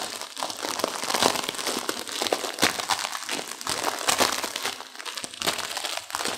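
Long-nailed fingers squeeze and crush the dry noodle block inside a full, plastic-wrapped instant noodle pack held in both hands. A steady stream of bright plastic crinkling mixes with sharp, brittle crunches from the noodles. The crackling stays dense and busy throughout, with little low-end weight.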